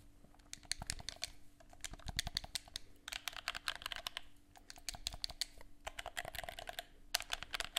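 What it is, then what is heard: Plastic game controller. Fingertips press and click the buttons of a black, hollow, hand-held plastic gamepad held close to the mic and tap its shell. The result is a rapid, uneven run of sharp, bright clicky taps that die away almost instantly, over a faint steady low hum.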